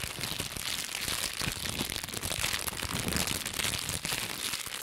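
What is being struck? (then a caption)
Plastic bubble wrap sheet. A small sheet of clear plastic bubble wrap with hollow air bubbles, held in both hands with long pink nails, is squeezed, popped and crumpled. The result is a dense, steady stream of bright crinkling and crackling, broken by quick sharp pops, that continues for the whole clip.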